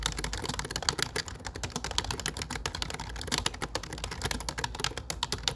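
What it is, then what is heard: Plastic computer keyboard. Fingertips type steadily on a low-profile plastic computer keyboard with dark plastic keycaps. The result is a quick, continuous stream of short, bright clicks and clacks that die away almost instantly. A faint, steady low hum sits beneath the taps.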